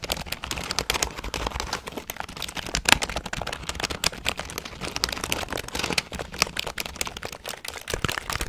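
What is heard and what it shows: A full-size grey and black plastic computer keyboard with a hollow plastic body is held upright in one hand near a fluffy microphone while fingertips press and tap its plastic keys. A rapid, steady stream of short, bright, dry clicks and clacks fills the clip, each dying out almost instantly with little low-end weight.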